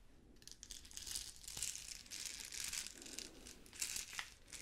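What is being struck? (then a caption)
Plastic rhinestone sticker sheet. A hand-sized, thin flexible sheet of small pink and clear plastic rhinestones on a clear plastic backing is scratched, rubbed and crinkled with long pink nails, then bent and rolled at the end. The result is a steady stream of bright, crisp crinkling and scratchy clicking, mostly high and sharp with little low end and a few louder ticks.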